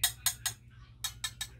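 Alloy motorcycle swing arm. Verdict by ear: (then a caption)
Solid. Six sharp knocks on a new aftermarket alloy motorcycle swing arm for a Raider 150 FI, tapped to judge its wall thickness. Each bright, dry tap dies almost instantly with no ringing, over a low steady hum. The dead, solid sound is taken as a sign of thick, heavy walls rather than thin tin-can metal.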